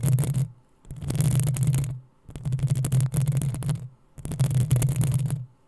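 Long nails scratch the hollow metal mesh grille of a black desktop microphone in a few long strokes separated by short pauses. Each stroke makes a heavy, low rumbling scrape, dense with crackling grit that reaches up into a bright hiss.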